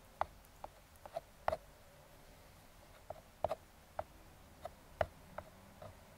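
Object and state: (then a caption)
Kraft cardboard box tapped with metal fingertip picks. Metal claw fingertip picks tap and scratch the side of a small, closed, brown kraft cardboard box. Eleven quiet, dry, hollow taps sit around 600 Hz, with brief scratchy traces between them. Each tap dies away almost at once, with long near-silent gaps in between.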